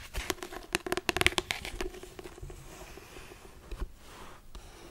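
Long acrylic nails tap and scratch the solid, cardboard-covered pink marble print cover of a hardcover daily paper planner. A quick burst of sharp, bright clicks fills the first second and a half, then trails off into softer, fainter scratching. The result is a light, crisp tapping sound.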